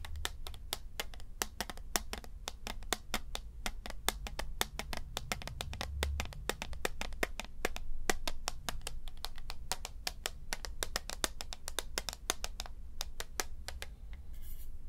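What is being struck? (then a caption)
Plastic computer mouse. A small, hollow white plastic wireless mouse is held in one hand above a light wooden desk and tapped quickly with the fingertips of the other hand. The result is a rapid, steady stream of short, dry, bright clicks with no ring, over a constant low rumble.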